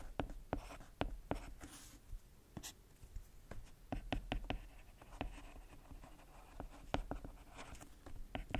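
A white plastic stylus is used to write on the solid flat glass touchscreen of a tablet. Repeated sharp tip taps stand out over light, dry scratching strokes on the glass, with a quiet low hum underneath.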